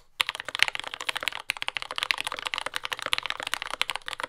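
Continuous typing with the fingertips of both hands on a compact J-01 mechanical keyboard with lubed Yellow Gateron Ink switches, dark brown plastic keycaps and a carbon fiber plate, resting on a desk mat. Rapid, dry, bright keystroke clacks follow one another with almost no ring, broken by one brief pause near the middle.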